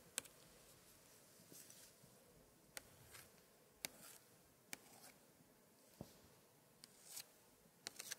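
A gloved hand scratches and traces a long, thin pointer stick across the thick paper pages of glued cards in an open 1880s antique scrapbook, staying on the same spread throughout. About ten sharp, bright ticks stand out over a quiet bed of soft, high scratching swishes, each tick dying away almost instantly.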